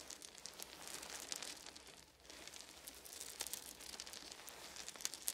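Fingertips of both hands scratch and rake through a pile of small, round, solid wooden beads resting on a fuzzy blanket. The result is a quiet, bright, dense clicking and rattling with a crinkly texture, dipping briefly into a lull near the two-second mark before the clattering picks up again with sharper ticks.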